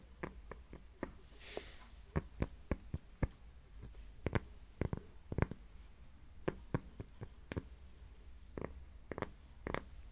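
Fingernails tap and scratch a thin, flat, solid heart-shaped cork coaster held close up. About twenty short, dry clicking taps land at an uneven pace, with a brief soft scratchy hiss early on, over a faint low background hum.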